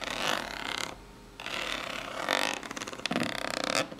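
Long polished nails scratch and tap the ribbed top and side of a small, hollow, brown corrugated cardboard box. Bright, papery scratching bursts with a brief near-silent pause give way to a run of quick, crisp taps. The sound is dry, with a hollow midrange tone around 940 Hz and almost no low end.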